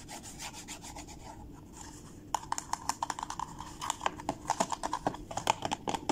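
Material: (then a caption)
Cardboard. Fingertips and nails rub, scratch and tap the lid of a small, dark blue, DoubleTree-branded cardboard gift box lying closed and hollow on a wooden table. Soft, steady papery rubbing and scratching gives way after about two seconds to a quick, irregular run of crisp taps with a hollow, mid-pitched knock and bright scratchy edges.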